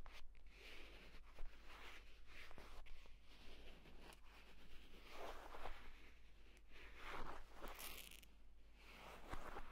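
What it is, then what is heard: Leather tablet case being scratched. Fingers scratch and rub the pebbled cover and spine crease of a purple leather folio tablet case lying flat. The result is a quiet, continuous dry scratching and rustling texture, with brighter bursts of friction over a steady low hum.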